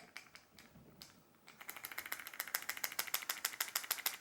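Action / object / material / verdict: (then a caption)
shake / plastic liquid lipstick tube / plastic / none. A long-wear glossy liquid lipstick tube, which has to be shaken before use, is shaken to mix the product inside. A few sparse clicks give way after about a second and a half to a fast, fairly steady rattle of bright, sharp ticks, about 200 per minute, growing louder toward the end.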